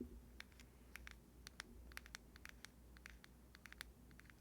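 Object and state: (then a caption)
Plastic box tapped. Fingers tap on a plastic box in a quick, irregular run of light, crisp taps. Each tap is short and bright with almost no ring, over a steady low hum.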